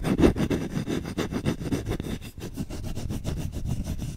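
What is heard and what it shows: The back of a solid wooden spoon held close to the mic is scratched rapidly with short nails and fingertips. The result is a dense, rough, low-heavy rasp of fast, overlapping strokes that pulse steadily with little brightness and no ringing.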